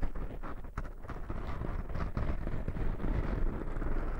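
Fingertips and short nails scratch and rub in a circular motion over two black, soft porous foam windscreens on binaural microphones. The result is a continuous muffled, rumbling crackle, heavy in the low end and with almost no high brightness, with rough, uneven swells as the foam is worked.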